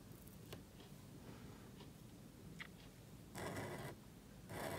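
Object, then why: Thin paper cardstock card. A calligraphy marker nib writes on a small, thin black cardstock card held flat. Faint ticks and soft scratches give way to two louder, bright, hissy strokes near the end, over a low background hum.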